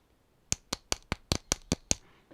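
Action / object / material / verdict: tap / plastic action figure chest / plastic / hollow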